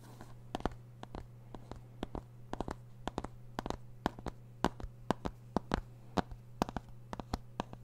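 Fingertips and nails tap and scratch a small, hollow plastic CD jewel case with a printed Green Day cover, held close to the microphone. Quick, dry clicks ring out in an irregular rhythm, with soft scratching between them. A steady low hum runs underneath throughout.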